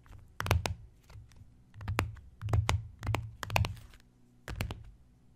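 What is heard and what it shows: Fingertips and short nails of both hands tap and scratch the closed cover of a notebook with a brown floral-embossed leather-look cover, lying flat on a wooden chest. Dull, low thumps come in quick clusters with sharp, bright clicks on top, and each dies almost at once with no ring. Faint scratchy rustling fills the gaps between the bursts.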